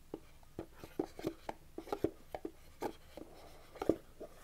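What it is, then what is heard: Cardboard phone box tapped. A small white rigid cardboard iPhone box with a lid is held in the hand while fingertips and nails tap and scratch its surfaces. About thirteen short, dry, irregular taps sound with little ring, mostly in the low-mid range, with light scratching between them.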